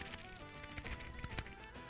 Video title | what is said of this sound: BEFORE BUYING! Two Corgeut homage watches reviewed, Rolex Datejust 36, Omega Aqua Terra 15000 Gauss | it almost sounds like plastic it's so it's very lightweight metal